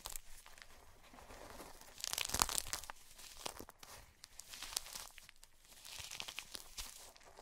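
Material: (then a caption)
Magnesium carbonate. Long purple-painted nails and fingertips press, crush and scratch through a heap of white gym chalk (magnesium carbonate) broken into crumbly chunks and powder. It gives dry, bright crunching and crinkly scratching that comes in uneven bursts, with a louder cluster of crumbling near the middle.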